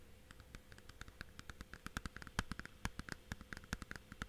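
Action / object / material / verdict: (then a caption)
tap / thin plastic game case / plastic / none. Fingertips and nails tap and scratch a thin, hollow blue plastic Blu-ray/game case with a paper cover. About thirty quick, dry clicks and taps patter unevenly, each dying away almost instantly, over a faint scratching background.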